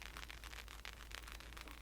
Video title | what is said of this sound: ASMR Guessing Game and Relaxing Trigger Assortment (soft spoken + whispered) | it doesn't make the sound until you shake it